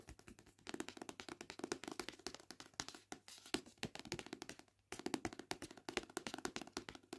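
A hand-held paperback copy of "The Witchery" has its glossy card cover and spine tapped and scratched with long painted nails. Quick, dry, clicky taps come in rapid runs with a hollow midrange body and bright ticking edges, plus scratchy texture between them. The sound is quiet, with no ring after each tap and a brief lull before the tapping resumes.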